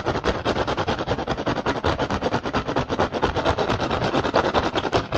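Fingertips scratch and tap fast across the weave of a hollow woven rattan basket, producing a continuous run of rapid, dry taps over a crackly scratching rustle. The sound sits mostly in the mid range around 400 Hz, with very little ring after each tap.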